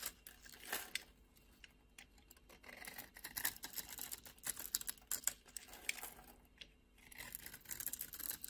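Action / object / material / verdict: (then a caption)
scrape / bar of soap / soap / none. A solid beige oval bar of soap, held in a palm by a hand with long red nails, is scored and carved into flakes with a utility knife blade. Quiet, bright, crisp scraping and cutting sounds come in short, dry bursts with almost no low end, and the flakes crumble away as the blade passes.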